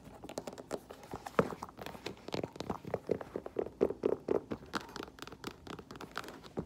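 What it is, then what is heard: Faux leather boot with rubber sole. Long nails tap the chunky black rubber platform sole, heel, tread and toe of an empty olive faux leather lace-up boot. A rapid, uneven series of short, dry clicks and taps is heard, with some brief scratchy contact and a few brighter, pitched knocks in the middle.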